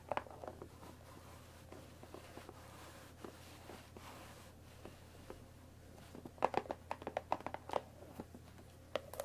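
Long nails tap the top edge of a hollow, rectangular cardboard Earl Grey tea bag box. At first the taps are light and spread out, and then a denser run of sharper clicks comes after about six seconds. Each dry tap has a faint, quick ring near 500 Hz, heard over a quiet, steady low hum.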